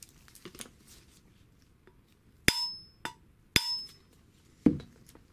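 A steel Vespa BFA306 crankshaft is set down and knocked with a hammer at the spot where the taper sits. After a few faint clinks, four sharp metallic strikes are heard. Two of them ring on with a clear high tone, while the other two die away quickly.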